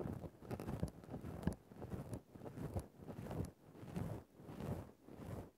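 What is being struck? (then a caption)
Synthetic fur microphone windscreen. A thin bamboo ear-pick, held in the fingers, scrapes and pokes at a grey faux-fur microphone windscreen. The result is close, muffled, low rustling and scratching that comes in uneven swelling bursts, with a soft crackle on top.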